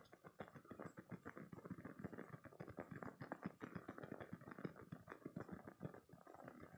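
A green spiky silicone stress toy is squeezed between both hands and scratched with short nails. The result is a quiet, dense run of rapid soft squishing, clicking and scratching sounds, mostly low to mid in tone with little bright content.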